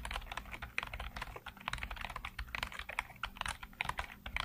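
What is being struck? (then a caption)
Plastic computer keyboard keys. Fingertips tap quickly across a black plastic full-size computer keyboard with hollow keycaps and backlit keys. The result is a dense, steady patter of short, bright clicky keystrokes with little ring, over a faint low hum.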